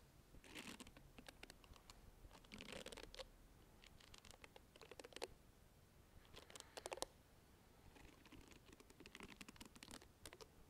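Long red-painted nails scratch and tap the round bristled head and plastic body of a small handheld pink plastic facial cleansing brush held close to the microphone. Quiet bursts of crisp, bright scratching and quick clicking taps come in clusters, separated by brief near-silent pauses.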